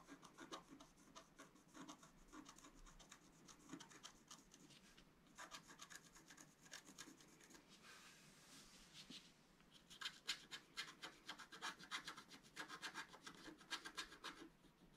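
A flat black-coated scratch-art card is scratched with the point of a wooden stylus while the other hand holds the sheet flat. Quick, bright, raspy strokes come at an uneven pace of about four per second, easing into a softer, smoother hiss for a couple of seconds midway before sharp scratching resumes.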